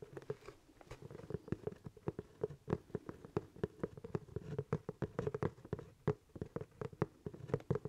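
Fingertips tap and scratch the leather crown of a hollow, empty black leather top hat held close. Quick, irregular, dry taps carry a soft, low, hollow thump and stop dead with no ring, while faint scratching fills the gaps. The result is a quiet, close, muffled patter.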